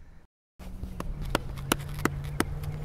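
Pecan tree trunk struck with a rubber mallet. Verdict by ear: Solid.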